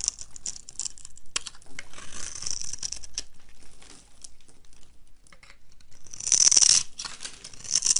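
A knife blade scrapes and chops crumbly cubes off a solid rectangular olive-green dry soap bar, scored in a grid pattern and held in hand. Dry, crisp crunching and scraping repeat unevenly, with bright, hissy crumbling that grows loudest near the end.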